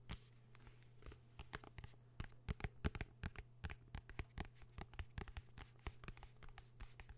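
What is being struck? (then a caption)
Hardcover notebook, cloth-covered board. A blue hardcover notebook, held upright and then flat, is scratched and tapped on its cover with fingertips. About 32 quick, dry taps and scratches come through in an uneven rhythm over a steady low hum.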